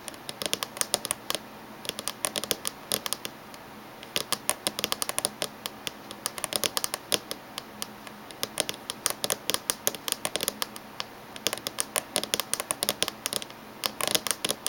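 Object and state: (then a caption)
Laptop casing tapped with fingernails. Fingernails tap rapidly on the top edge of a closed silver laptop, heard close-up. The taps come in quick irregular bursts of sharp, bright clicks that die away almost instantly, with very little low end, over a faint steady hiss.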